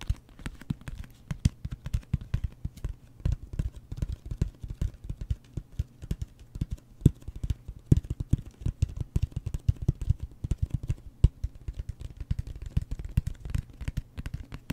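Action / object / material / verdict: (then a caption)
tap / closed cardboard mailer box / cardboard / none. A closed, hollow cardboard gift box, a mailer box printed with a wood-grain pattern, is held up and rapidly tapped with fingertips and nails. The result is a fast, steady stream of dull, low, hollow thuds with almost no high-frequency content, each dying away almost instantly.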